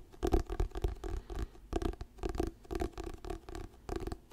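Fingernails scratch the glossy paper cover of an orange "Diary of a Wimpy Kid" paperback book held solid in both hands. The result is a series of soft, dull scratching bursts with short pauses between them, heavy in low rumble and with very little bright content.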